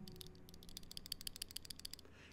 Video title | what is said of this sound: The Bastion Bolt-Action Pen! | you get a rattle in there when you shake it and that's this mechanism up here while this fit and finish down here is very tight